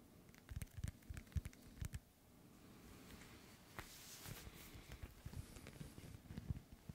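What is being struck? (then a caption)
Small inflated synthetic leather ball. A small inflated, hollow ball with a white, black and yellow synthetic leather panel cover is held in one hand and tapped with the fingertips of the other. The soft, dull taps come in irregular bursts, low and thumpy with very short decay, over a quiet steady hiss.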